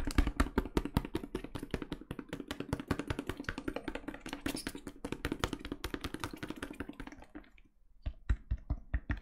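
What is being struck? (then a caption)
Plastic bottle of liquid cleaner. Fingertips in pink rubber gloves tap and knock on a medium plastic cleaner bottle with a label, filled with liquid. A fast, irregular flurry of short, dull taps with a low thud and brief bright clicks runs for about seven seconds, then pauses briefly before a few slower, sharper knocks.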